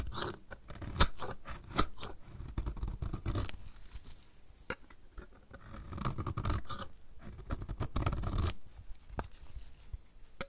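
A solid purple striped dry soap bar, held in the hand, is scraped with a utility knife blade as shavings pile up. Dry, crunchy scraping strokes and sharp clicks come in uneven bursts over a soft low rumble, with brief quieter pauses between passes.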